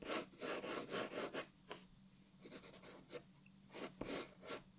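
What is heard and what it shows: A wooden graphite pencil held in the fingers rubs and scratches across a flat white paper sheet lying on a wooden desk, making shading strokes while the other hand holds the sheet still. Bright, scratchy rasping bursts come in an uneven back-and-forth rhythm, separated by quieter pauses.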